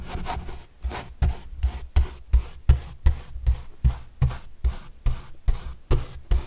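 Paintbrush bristles are rubbed over a large, flat, white printed corrugated cardboard box panel with green edges, held in hand. About fourteen quick, uneven strokes each give a soft low scrape with a dull thump that dies away almost at once, at a brisk, irregular pace.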